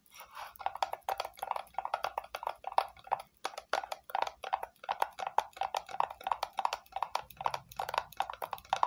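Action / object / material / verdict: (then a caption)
tap / small hollow plastic box / plastic / none. A small, hollow red plastic rectangular box is held in both hands and tapped on its sides with long nails. The result is a quick, steady run of soft, hollow clicks with a mid-range tone and a bright edge, and each tap dies away almost at once.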